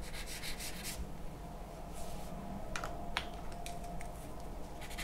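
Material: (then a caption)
Paper. A charcoal pencil scratches strokes onto a large sheet of white drawing paper resting on a wooden table. Soft, bright, rough scraping bursts come and go over a steady low hum, with a few sharper ticks as the pencil catches the paper.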